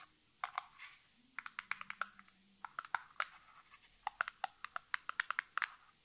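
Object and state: Cardboard box.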